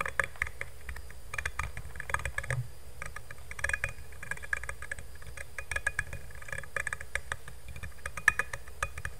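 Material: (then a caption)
Stainless steel. Fingernails tap fast on the flat bottom of a black stainless steel insulated water bottle held upside down near the mic. Quick, dry metallic ticks with a bright tone around 1.7 kHz cut off almost at once, over a steady low rumble.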